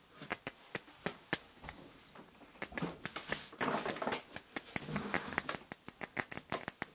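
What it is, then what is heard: Nylon ladle tapped and scratched. Fingertips and nails tap and scratch the bowl of a black plastic or nylon kitchen ladle with a metal handle, held up by the handle. A quick, irregular run of short, dry, bright clicks is broken by a brief stretch of soft scratchy rustling in the middle. There is little low end, and each tap dies away almost instantly.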